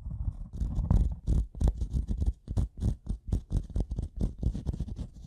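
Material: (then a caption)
Wood. The metal prong tip of a pink-handled tool taps and scratches across the top surface of a solid, light-colored wooden block. It makes a rapid string of dull, low, close-up knocks and scraping rubs. The thuds are short and dry, with almost no ring and little high end.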